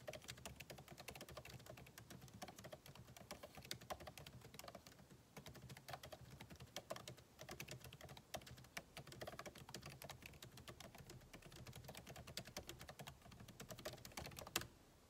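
Fingertips of both hands type rapidly on a solid, backlit MacBook Pro keyboard with plastic keycaps in an aluminum body, resting on a desk. A steady stream of short, crisp, bright key taps with dry low thumps runs for about 14.5 seconds, ending in a sharper, louder tap before going quiet.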